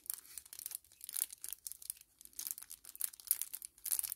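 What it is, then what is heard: Kraft paper-plastic laminate sachet. A small, flat 10 ml kraft paper-plastic laminate sachet is held in both hands and crinkled and flexed with the fingers. It makes quiet, bright, crisp crinkling and crackling in rapid irregular bursts, with almost nothing in the low end.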